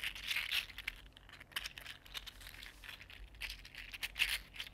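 A small, hollow, articulated purple-green 3D printed plastic fidget slug is curled and flexed with the fingers and fingertips, its segments clicking against each other. The sound is a quiet, continuous run of dry, bright clicks and crinkly rattles with almost no low end. Each click dies away almost instantly.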